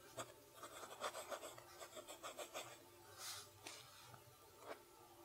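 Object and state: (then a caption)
Pen nib writing on notebook paper. A fountain pen nib writes cursive on a lined page of a spiral notebook, making quiet, bright scratching strokes in quick bursts. A softer, hissing sweep follows partway through before a few final scratches.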